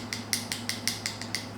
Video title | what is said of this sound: Acrylic Application: | if you hear that tapping noise that means it's dry